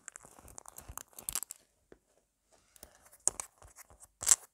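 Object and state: Foam squishy toy scratched and tapped.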